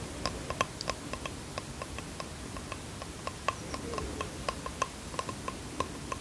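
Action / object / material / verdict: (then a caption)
tap / small bamboo box / bamboo / none. Fingernails tap the wooden edges and face of a small bamboo box held in the hands, giving around twenty short, dry clicks with a bright, woody ring near 1 kHz that dies away almost at once. The taps come in an uneven, relaxed rhythm over a low, steady background hiss.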